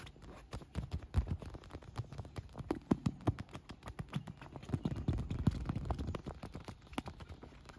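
Fingernails tap and scratch a large, air-filled pink and yellow PVC vinyl beach ball that is wet with droplets. The clip is a rapid, irregular run of short, dull, low-pitched taps with faint scratching between them, and each tap dies away almost instantly.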